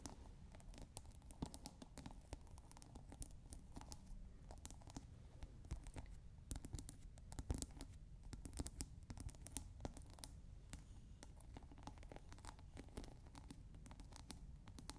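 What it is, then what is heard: Plastic scent pod on a glass water bottle. Fingertips and long nails tap and scratch the plastic scent pod on top of a clear glass water bottle that is partly filled with water. The result is a quiet, dense stream of crackly taps and scratches. Each one is short and dry, with no ring, and the sound is weighted toward the low end.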